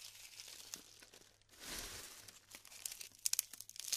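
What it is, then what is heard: Glued styrofoam bead clusters being crumbled. Fingers rub and break apart clusters of glued styrofoam beads, making bright, dry crinkling and tearing sounds. A louder swell of rubbing comes through the middle, then sharp crackles and snaps pop out near the end.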